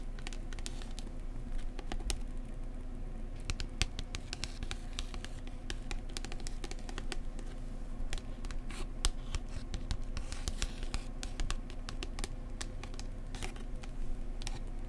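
A paperback book is held at the spine while its glossy card cover is tapped with long nails. Many quick, light, bright clicks and taps come in uneven bursts over a steady low hum, each dying away almost at once.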